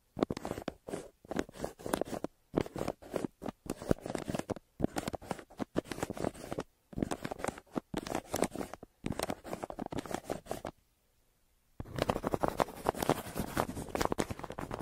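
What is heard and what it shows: The graphite tip of a yellow wooden pencil, held in the hand, scratches and scribbles across a flat brown kraft paper Amazon mailer lying on a table between two microphones. Quick bursts of dry, papery scratching strokes come in short clusters with brief pauses, then a near-silent gap. A final stretch of continuous, denser scribbling follows.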